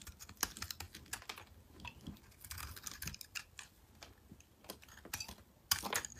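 A metal blade shaves angled facets into a solid chunk of mint-green soap held in the hand, scraping off flakes. Quick, crisp scrapes and clicks sound in a rapid, uneven run, bright and dry with almost no ring. A louder burst of cuts comes near the end.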